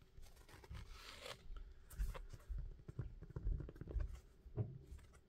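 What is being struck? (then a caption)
Foam shoe insole. Fingertips rub and scratch the surface of a thin, flexible, red-topped foam shoe insole held in both hands. This produces quiet, irregular, soft scratching and dull low thumps, with a brief brighter hiss of friction near the start.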